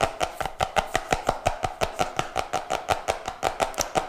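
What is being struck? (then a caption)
Cardboard notebook with glossy laminated cover. A medium-sized, flat, solid cardboard notebook with a colorful printed glossy cover that looks laminated is held upright near the mic and tapped quickly with fingertips and nails. About 24 short, dry taps land in a fast, slightly uneven rhythm, each with a bright clicky edge and a brief hollow tone around 770 Hz that dies away almost at once.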